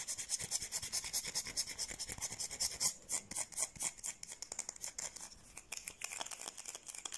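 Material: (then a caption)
Soap. Long painted nails scratch and rub a solid, palm-sized white bar of soap held in both hands. The result is a fast, uneven run of dozens of short, dry, bright scratching strokes with almost no low end and no ring after each stroke.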